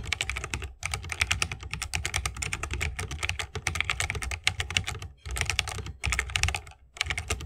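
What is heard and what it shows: Fingertips of both hands type rapidly on a 60% mechanical keyboard with a bamboo wood case, plastic keycaps and Holy Panda tactile switches. The result is a dense stream of bright, clacky key presses over a low, thocky body, broken by a few brief pauses.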